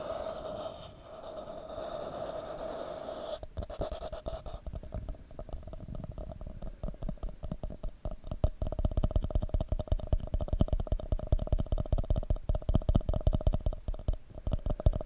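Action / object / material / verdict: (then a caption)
tap / plastic party cup / plastic / none. An empty red plastic party cup is held over a microphone, giving a hollow, cupped hiss with a steady mid tone for the first few seconds. Fingertips and nails then tap and scratch the cup in rapid, uneven bursts. Each tap is short and dull, with deep, boomy low end.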